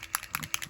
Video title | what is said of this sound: Warm and Cozy | As you can hear the bouncy ball on the inside there. That means it's shaking up.